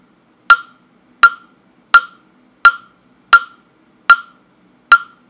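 A hollow carved wooden mokugyo fish block with a slot opening, held in hand, is knocked with a small round-headed mallet. Seven sharp, evenly spaced hollow knocks ring with a woody tone around 1.4 kHz and bright edges. Each knock decays almost instantly into silence.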